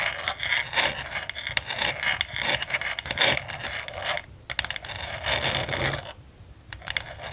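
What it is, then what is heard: Plastic desk organizer tray, hollow and empty. Long nails scratch and tap the sides of a medium, translucent frosted plastic desk organizer tray with diagonal dividers, held up hollow and empty in both hands. The result is a dense, bright, crackly scraping broken by quick dry taps, with brief quieter pauses around the 4-second and 6-second marks.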